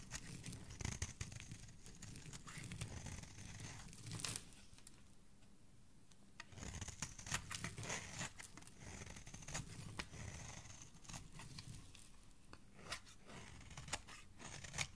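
A metal utility blade scrapes and carves a solid white bar of soap, with flaky shavings building up on the surface. Dry, crisp scraping and crinkly, tearing-like cuts come in quick bursts with sharp clicks, and there is a quieter stretch midway. The sound is close and soft overall, with a low rumble beneath bright, rasping highs.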